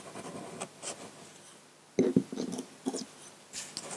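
A metal dip-pen nib scratches quick ink strokes across a flat sheet of white drawing paper, heard close-up. Faint scratchy strokes in the first second give way to sharper, louder scrapes around the middle, then lighter brushing strokes that fade out near the end.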